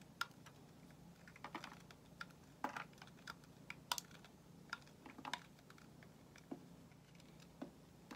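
A solid white bar of soap, held in the hand, is shaved with a metal utility knife blade. About sixteen short, crisp scraping clicks come at an irregular pace, quiet and bright-edged with almost no ring. A faint low hum runs steadily underneath.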